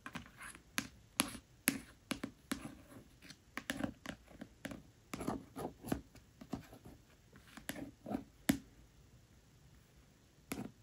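Around twenty quick, crisp ticks, some sharper and some softer, mixed with faint scratchy traces between them. Each is short and dry with no ring, the papery thud of a nail on a paperback cover. Quiet close room.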